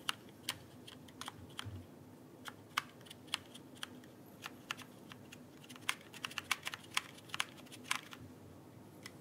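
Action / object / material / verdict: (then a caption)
tap / plastic mechanical keyboard keycaps / plastic / none. A backlit plastic mechanical keyboard is held upright while fingertips tap and press its plastic keycaps. Sharp, bright clicks come in an irregular typing rhythm, some in quick clusters, each dying away almost at once over a faint steady hiss.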